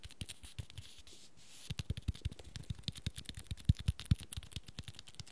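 Fingertips and short nails tap and scratch along the dark red fabric cover and spine of a small, solid cloth-bound hardcover book held in hand. Quiet, dry, low thuds come in an irregular, rapid series, each with a bright scratchy tick and almost no ring. A brief soft scraping lull falls just after the first second, and the taps grow firmer toward the end.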